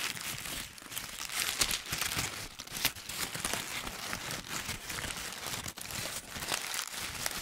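A loose, hollow ball of crumpled paper is held close to the ear while fingertips squeeze and rub it. The result is a dense, continuous run of bright, crisp crinkling and crackling, with little low end and brief sharper crunches here and there.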